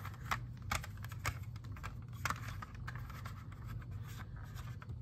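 A fingernail taps and scratches on a clear, hollow, hand-sized plastic CD jewel case holding a disc. Sharp, brief clicks stand out from quieter scratching, over a steady low hum.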